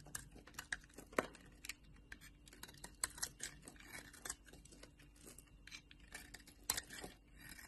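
A solid orange bar of soap, held in the hand, has its edges shaved with a metal utility knife blade, sending flaky curls breaking off. Quiet, crisp scraping and crackly snaps repeat irregularly with bright, short clicks and very little low end.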